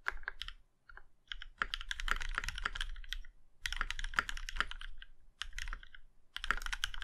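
A compact mechanical keyboard, the Plum Iron 165, with a plum-red aluminum case and black keycaps, is typed on by the fingertips of both hands. Bursts of quick, sharp key clicks and clacks with a bright, crisp top come in runs separated by short pauses, each stroke decaying almost instantly with a low thock beneath.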